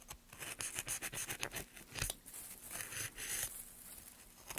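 Gloved hands slowly carve the end of a solid, light pine softwood board with a steel gouge. A run of short, dry, bright scraping strokes rasps and shaves across the grain with little low end and no ring.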